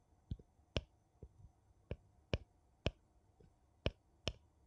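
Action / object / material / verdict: tap / metal screw lid on a small glass jar / metal / none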